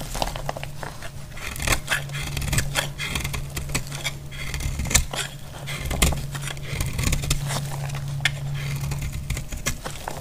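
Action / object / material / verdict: scrape / bar of soap / soap / none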